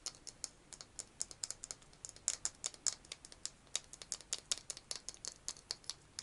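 Rapid fingernail tapping on a small, hollow, pink plastic egg-shaped case, close to the mic. Dozens of quick, dry, bright clicks fall in an uneven patter with almost no low end, each dying away instantly.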